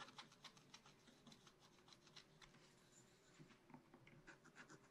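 A wooden stylus scratches detail lines into the black coating of a scratch-art card in a spiral book. A quiet, rapid run of short, dry, bright scratching strokes is heard over a faint steady low hum.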